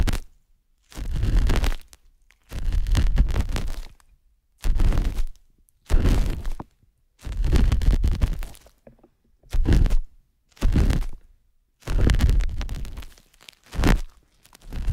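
A thin stainless metal spatula is pressed and scratched inside the ear canal of a soft white silicone ear on a binaural microphone. It makes repeated bursts of close, muffled scraping and thudding, heavy in deep rumble, separated by short silences.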